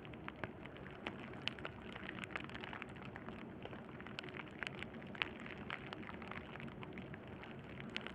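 A sheet of clear plastic bubble wrap lies flat on burlap while both hands rest on it and fingertips with short-medium nails press, scratch and pop the air bubbles. A steady, quiet, rain-like crackle runs throughout, broken by many sharp, bright pops that die away instantly.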